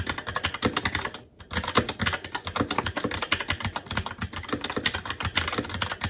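Fingertips of both hands type continuously on a SteelSeries Apex 7 TKL mechanical keyboard with red linear switches, black plastic keycaps and an aluminum plate. Rapid, crisp key taps with a bright clack fill the clip, with a brief pause just after the first second.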